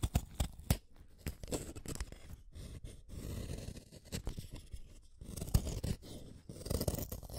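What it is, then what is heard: Wooden pencil being sharpened. A yellow wooden colored pencil, a small solid stick, is shaved one at a time by the metal blade of a yellow plastic hand sharpener. The result is a series of dry, scraping cuts, with sharp clicks between rasping bursts. The sound is mostly low-weighted, with brief bright ticks.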